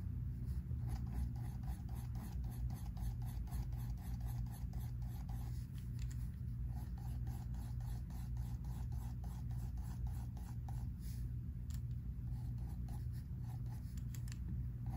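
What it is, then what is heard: Pencil shading on sketchbook paper. A pink mechanical pencil rubs and shades across a spiral-bound sketchbook paper page in repeated strokes. Quick, soft scratchy strokes with bright edges sit over a steady low rumble at an even, quiet level.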